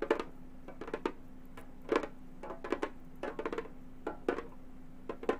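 A round, hollow Remo frame drum with a synthetic head is drummed with long gold metal finger claws. Irregular clusters of quick, dry taps and short rolls land across the clip, each with a brief knocking tone around 370 Hz and a clicky top that dies away almost at once. A faint steady hum sits underneath throughout.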